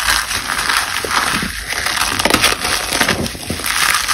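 Fingers with long blue nails dig into a heap of dry, brittle cornstarch paste flakes and a small solid chunk, grabbing and crushing them. A steady, bright crackling crunch runs throughout, with the flakes crumbling in dense, overlapping bursts.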